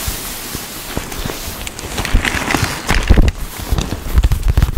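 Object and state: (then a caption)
Quilted leather handbag. Long pink-painted nails and fingertips tap and scratch quickly across the puffy quilted panels of a large black quilted soft-leather Kurt Geiger Kensington XXL handbag, held upright on a table, its body hollow and padded. The taps land as dull, low, padded thumps over a soft scratchy rustle, with short bright scrapes mixed in. The tapping grows louder and busier in the second half.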